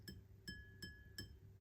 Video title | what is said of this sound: How To Identify Lead Crystal Glass | So this glass here, if I tap it, it's a dull thudding sound.